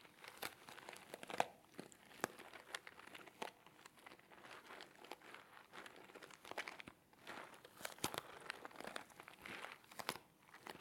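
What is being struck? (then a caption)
Small cardboard box. A small, hollow orange cardboard box held in both hands is tapped and scratched with fingertips and nails. Quiet, dry, crinkly taps and scratches come in a steady stream with no ring. The sound is bright and papery, with almost no low end.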